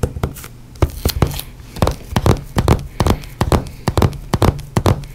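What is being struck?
Book.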